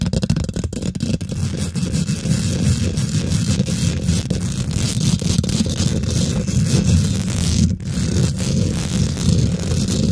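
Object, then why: Steel wire-mesh microphone grille. Fingernails rapidly scratch and tap a hollow steel wire-mesh microphone grille. The result is a continuous, dense rustling scrape with heavy low-end thumping throughout. There is a brief dip near the eight-second mark.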